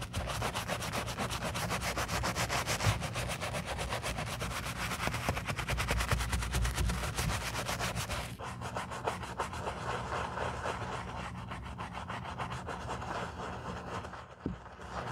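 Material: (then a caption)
Leather. A wooden-handled bristle brush scrubs the foamy upper of a black leather boot in close-up. A steady, dense rubbing and scratching plays throughout, full of rapid bright bristle strokes over a low rumble. Partway through the scrubbing turns slightly softer and thinner.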